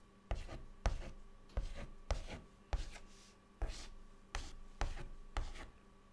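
A white stick of chalk, held in the fingertips, draws details on a flat, dark, solid chalkboard. Short scratchy strokes start with a sharp tap and fade quickly, each followed by a soft rasping drag. The strokes repeat at a steady, unhurried pace.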